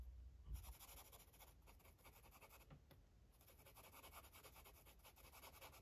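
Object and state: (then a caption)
Paper page being coloured with a felt-tip marker. A purple felt-tip marker makes short scratching and rubbing strokes on the page of an open paper coloring book lying flat on a table. A low thump comes near the start, then a continuous run of quick, uneven, bright scratchy strokes follows at a quiet, steady level.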